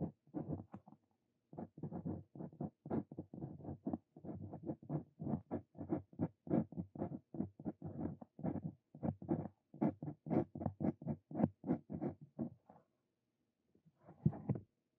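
A steel dip-pen nib scratches writing strokes into a thin paper card resting on a desk. The result is a long run of short, dry scratches, mostly low and midrange with almost no bright edge. They come in quick bursts, with brief pauses between strokes and a longer pause just before the end.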